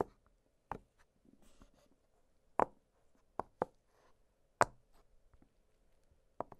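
Fingertips press and pop the hollow bubbles of an octagonal blue silicone pop-it fidget toy lying flat on a glittery surface. Sharp, dry pops with a hollow, mid-pitched tone land at irregular intervals, each dying away almost instantly. Faint soft rubbing fills the quiet gaps between them.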